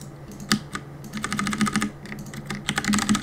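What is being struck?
Mechanical keyboard with plastic keycaps.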